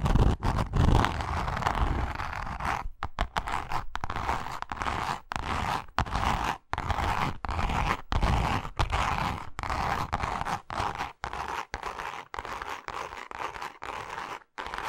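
Long nails on both hands scratch the face of a pink, grained leather zip wallet. Dense, dry rasping strokes run almost continuously, broken by short, irregular silent gaps. There is a low rumbling body beneath the brighter scratchy texture.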